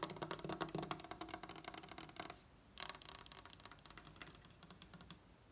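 Long acrylic nail tips of both hands tap quickly on a flat, solid wooden tabletop, while the other hand sometimes mimes tapping in the air. The result is a rapid, uneven patter of dry, bright clicks with very short decay. A brief quiet pause comes just before halfway, then the tapping resumes a little softer.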